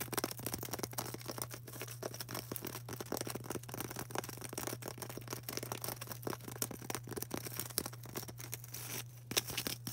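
Long orange acrylic nails scratch and tap on a solid, palm-sized white polystyrene foam ball, making a dense run of dry, crackly scrapes and short, bright ticks. A steady low hum runs underneath throughout, and each tap dies away almost instantly.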